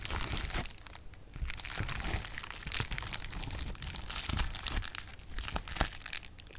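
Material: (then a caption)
Plastic. Clear plastic bubble wrap is popped and crinkled with fingertips close to the mic. It makes a steady, dense crackle with sharp, bright pops over a low rumble, and the loudness rises and falls in bursts throughout.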